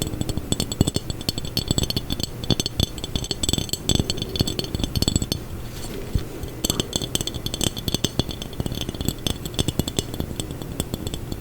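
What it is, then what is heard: Textured glass jar. A textured glass jar is tapped, scraped and rattled for ASMR, giving a rapid run of short, dry clinks and clicks over a low rumbling rattle, with bright glassy ticks on top. The tapping eases briefly around the middle, then resumes just as fast.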